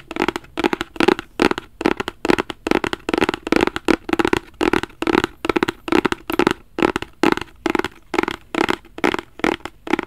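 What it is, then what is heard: Cardboard gift box. A black rigid cardboard gift box is held flat in both hands and scratched with fingertips and nails. The result is a quick, unevenly spaced run of short, dry scratching bursts, centred in the low-mids with a bright, papery hiss on top and almost no low end or ring.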